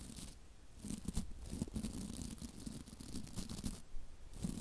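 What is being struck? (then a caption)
Plastic-bristle scrub brush. Long nails flick and scratch the stiff white plastic bristles of a hand-sized scrub brush with a block handle, held close to the microphone. The result is a dense, crackly scratching with a heavy low-end rumble, broken by short bright, rustling bursts of bristle snaps.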